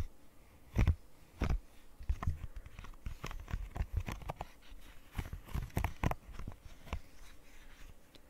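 Long nails tap and scratch across a rainbow square silicone pop-it fidget toy with hollow bubbles, giving a quick run of soft, dull, low thuds mixed with short scratchy clicks. Each tap dies away almost instantly, and the sound stays quiet and close throughout.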